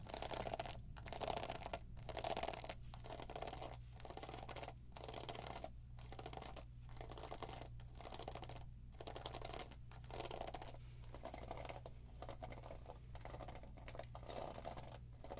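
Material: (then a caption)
Plastic. Long acrylic nails tap and scratch across the pin bristles and back of a black plastic paddle hairbrush with many plastic pin bristles and a hollow, cushioned head. The result is a dense, bright, crackling scratch broken by short pauses about once a second, over a steady low hum.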